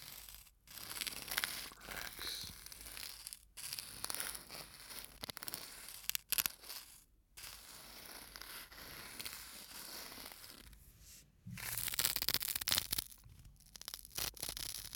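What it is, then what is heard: Sand-filled bottle with metal screw cap. A small clear or translucent bottle full of fine white sand, with an aluminum screw cap, is held close to the microphone while fingers rub and scratch the cap and neck. The result is bright, dry scratching and tearing-like rustling in uneven bursts with brief quiet gaps, louder and harsher near the end.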